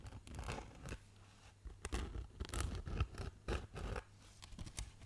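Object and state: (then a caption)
Black foam packing insert. A hand-sized block of black polyethylene foam packaging insert with cutouts is scratched and rubbed with fingernails. It makes dry, scratchy bursts of rubbing and scraping with a heavy low rumble, separated by short quieter pauses. The sound is close and dead, with no ring after each stroke.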